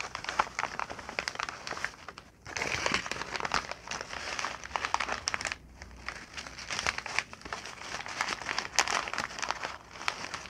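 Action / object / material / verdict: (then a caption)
shake / brown kraft packing paper / paper / none. A sheet of brown kraft packing paper is picked up and crumpled into a ball with both hands and fingertips. The result is a dense, continuous run of bright, sharp crinkles and crackles, with brief quieter pauses before each new surge of crumpling.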